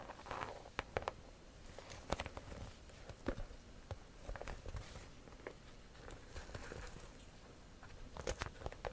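A small, structured pale-yellow handbag of croc-embossed leather, with a chain strap on its side, is held in the hands while long nails tap and scratch its front panel. Quiet, dry scratching is broken by sharp, short clicking taps that stop almost instantly, with a soft low rumble underneath.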